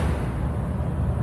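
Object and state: Nothing is struck.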